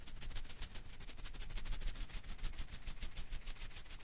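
Fingers quickly flick and rub the strands of a hand-sized blue and green rubber-filament Koosh ball held in one hand. The result is a rapid, dense stream of soft crackling, ticking rustles with a bright, airy edge over a low, muffled rumble, staying fairly steady throughout.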